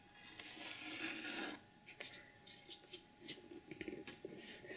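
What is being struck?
Cardboard gift box with glitter paper.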